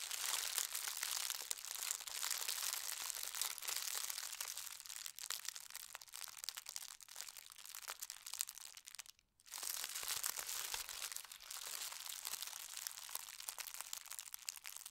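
Both hands press and rub a folded strip of thin white star-print tissue paper with their fingertips. This makes a steady, bright, dense crinkling with almost no low end. The crinkling breaks off into near-silence for a moment just after the midpoint, then resumes.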